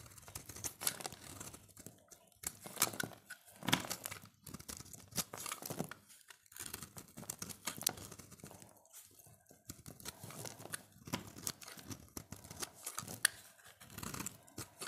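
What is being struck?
Bar of soap shaved with a knife blade.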